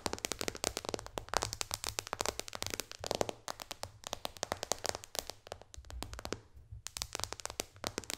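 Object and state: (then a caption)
Glass tablet touchscreen tapped with fingernails. Long dark-painted fingernails of both hands tap fast on the solid flat glass touchscreen of a white-bezel iPad tablet lying flat on a lap. The result is a dense stream of sharp, bright clicks with almost no ring. The tapping briefly thins out just before the final stretch, then resumes at full pace.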